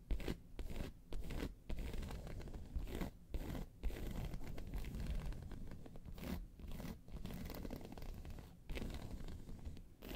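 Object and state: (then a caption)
Faux leather handbag scratched with nails. Long pointed nails of both hands scratch across the top surface of a round, hollow, tan croc-embossed faux leather handbag. The result is a dense, rasping scratch heavy in low tones, coming in steady bursts broken by brief pauses.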